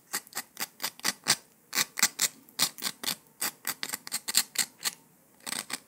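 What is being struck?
Honeycomb sugar candy.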